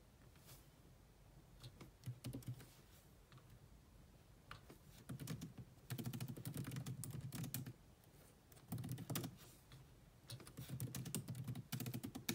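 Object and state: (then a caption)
Plastic laptop keyboard. Long nails and fingertips type on a grey plastic laptop keyboard with black plastic keys, making quick, irregular taps. Soft low key thuds carry bright, clicky edges, coming in fast bursts separated by short quieter pauses.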